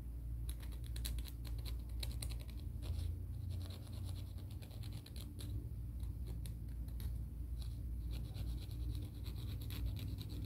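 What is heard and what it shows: Fingernails are scratched along the face and edge of a black-and-white emery board nail file. Quick, dry, bright scratching strokes come in rapid bursts over a steady low rumble that stays even throughout.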